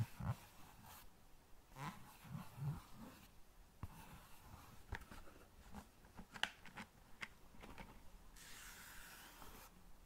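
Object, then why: Large cardboard matchbox. A large, flat cardboard box of long matches is held below the mic and tapped and scratched with fingertips and nails. Soft, dull low taps mix with dry, papery scratching and a few sharp, brief clicks. Toward the end comes a steady, bright scraping rub.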